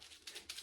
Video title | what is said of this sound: Fun Science Experiment: Sink or Float with Outdoor Items | you can hear the seeds inside rattle